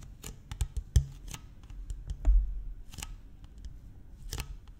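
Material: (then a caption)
Plastic. A large, empty, clear PET plastic water bottle with a blue cap is held in one hand and tapped and scratched along its ridged, hollow side with fingertips and nails. Quick, dry taps and crinkly scrapes come in an uneven series, with soft, low, hollow thumps under bright clicking edges. Each tap dies away almost at once, leaving a faint scratchy rustle between them.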